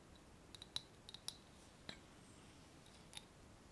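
Long painted nails tap and scratch a small, closed, clear glass jar with a wire clasp lid, filled with paper pieces and held in the hands. Sharp, bright clicks and clinks come in an uneven scatter, several close together early and a few spaced out later, each ringing around 3.9 kHz and dying away almost at once over a faint, quiet background hiss.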